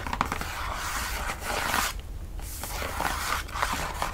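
A flat, hollow, printed cardboard gift box, resembling a Baileys chocolate box, is held against the body and tapped and lightly scratched across its lid with fingertips and medium-length nails. Dry, papery scraping and soft taps with a low rumble underneath give way to a brief near-silent pause, then resume with more crisp, sharp scratches and taps. Each sound dies away almost instantly with no ring.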